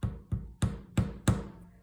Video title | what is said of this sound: Clay frogs | This one sounds wet and kind of sticky.